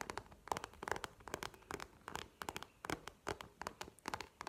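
Long nails tap a small map-printed faux leather wallet standing on the table, making quick, irregular dry clicks with a faint tone near 870 Hz. The taps are soft, with bright edges and no ringing tail, over a quiet background.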